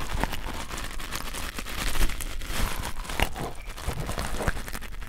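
A red nylon-fiber scouring pad is pressed between two pencil microphones, giving a close, crinkly scratching and crackling. Dense, fast crackles ride over a low rumble, with a few brief, sharper snaps standing out.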